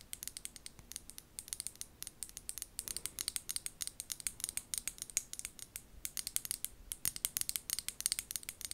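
Long gold nails tap and scratch a small amber glass bottle with a white plastic lid held close to the mic. The result is a fast, continuous run of sharp, bright clicks and scrapes that die away almost instantly, with very little low end.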